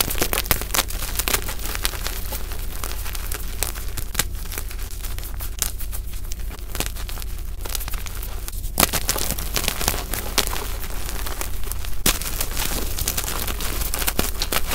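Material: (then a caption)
Chalk. Fingers crumble solid flakes and chunks of white and purple gym chalk blocks (magnesium carbonate) piled in a bowl. The result is a dense, steady run of gritty crunching and crackling, broken by sharp, bright snaps, over a constant low hum.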